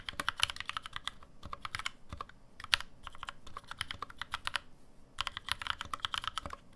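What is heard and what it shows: A black 65% NovelKeys NK65 mechanical keyboard with an aluminum case, plastic keycaps and lubed NovelKeys Cream switches sits on a deskmat while both hands type steadily with the fingertips. Quick, bright keystroke clacks with very little low end and almost no ring run in dense bursts, with brief lulls around the middle and near the end.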